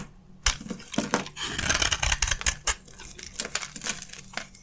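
A utility knife blade scrapes and carves crunchy chunks from an oval, solid, hand-sized bar of dry white soap with a gold coating, held in the hand. Bright, dry crunches and crackles come in quick bursts, with sharp snaps between stretches of gritty scraping. Each sound stops almost at once, with no ringing.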